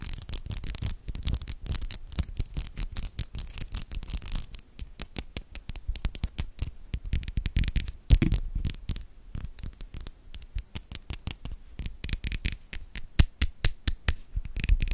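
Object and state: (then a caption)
Metal mesh microphone grille being scratched. Fingertips and long yellow nails rub and scratch the top of the hollow metal mesh grille of a white studio microphone. A dense, rapid stream of close scratches and taps, heavy in low, thumping rumble with short bright crackles, each one dying away almost instantly. It continues steadily throughout with occasional louder knocks.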